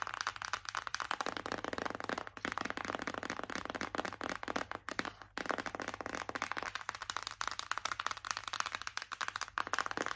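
Long acrylic nails tap rapidly on a white printed cardboard Revolution Pro palette box held in both hands. The result is a dense stream of short, dry, papery clicks centered in the midrange with a bright edge, over a faint low hum. There is a brief pause near the middle.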